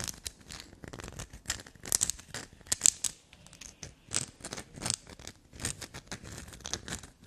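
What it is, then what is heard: Black soap bar. Long glossy black nails scratch and scrape a small solid black soap bar. A quick series of dry, crisp bursts comes through, bright and hissy with a gritty texture, uneven in strength and with no ring between strokes.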